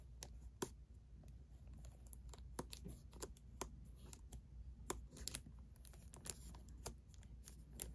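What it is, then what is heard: Cardboard tea box tapped and scratched. A hand-held Celestial herbal tea box of thin cardboard, hollow and likely filled with tea bags, is tapped and scratched with fingertips and short nails. Quick, dry, irregular taps with bright clicky edges sit over soft scratching and a steady low hum, each tap dying away almost instantly.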